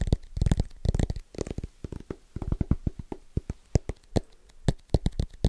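Fingertips of both hands tap fast and rhythmically on the metal back of a thin aluminum-backed tablet (iPad) held close to the mic. The taps land in quick flurries and scattered single strikes, each a short, dull, low thud that dies away almost instantly with no ring.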